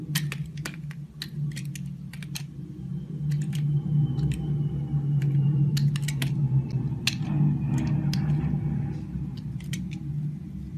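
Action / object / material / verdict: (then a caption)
scrape / glycerin soap bar cut with a blade / glycerin soap / none. A green-handled box cutter blade scrapes and cuts the surface of a solid oval translucent yellow-green glycerin soap bar held in the hand. Crisp, bright clicking and scraping ticks come at an irregular, fairly quick pace over a steady low hum.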